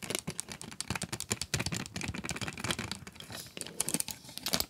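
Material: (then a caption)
Cardboard. Long acrylic nails tap and scratch the clear plastic front window and cardboard of an upright 12-pack coloured pencil box full of wooden pencils. The result is a quick, uneven run of crisp clicks and scratchy, crinkling rasps that are bright and dry, each dying away almost at once, with a couple of louder tap bursts near the end.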